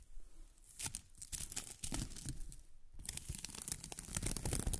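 A pink, crinkly strip of plastic film ribbon tape is held upright and squeezed and rubbed by fingers with long nails. Dense crinkling and crackling comes in bursts, with a low rustle underneath and bright, sharp snaps on top. The sound grows fuller and louder in the last two seconds.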